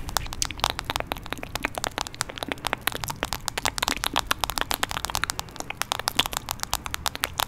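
A hand-sized smartphone in a light blue plastic protective case, a solid device, is held right at the microphone and tapped and scratched with fingertips and nails. Rapid, sharp, dry clicks come in a dense, uneven stream with no ring, bright and crackly over a soft low rumble.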